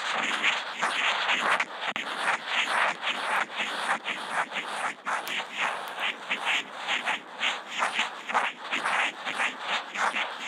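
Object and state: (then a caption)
Felt-tip marker scribbling on Kent paper. The felt tip of a Posca marker, fitted with a contact mic, is drawn in scribbled loops across a flat white sheet of Kent paper. It produces a continuous dry, papery scratching that swells and fades with each looping stroke, bright and midrange with no low end.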